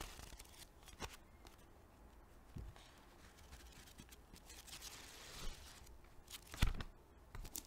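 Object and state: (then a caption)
Paperback book pages. A small paperback book with paper pages and a soft cover is held in both hands while its pages are flipped and fanned with the fingers, and long nails brush along the page edges. Soft papery rustling and crinkling is broken by brief, crisp flicks and snaps, with a low hum underneath and the loudest flutter near the end.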